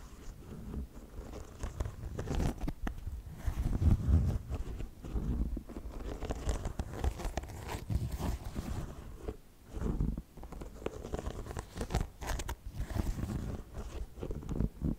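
Fingertips and nails scratch and rub the side and rubber sole of a white, lilac and orange synthetic-and-rubber athletic sneaker, held in both hands close to the mic. The result is a steady stream of dense, crunchy scraping and rubbing, heavy in the low end with little high brightness, swelling and easing in short bursts throughout.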